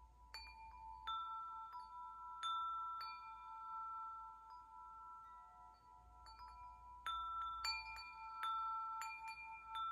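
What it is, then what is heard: Metal tube wind chime. A hand knocks and swings the long hollow metal tubes of a wind chime hanging by their string, setting off a series of clear, bell-like strikes. Steady mid tones near 1 kHz sustain and overlap under bright, high partials, each ring fading slowly over about one and a half seconds while new strikes layer over it.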